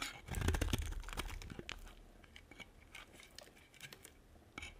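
A metal blade scrapes and carves a solid, dry pink and white bar of soap. Dense, crunchy scraping with dull low thuds is loudest in the first second, then settles into quieter, quick scratchy strokes with a few brighter crisp flicks near the end.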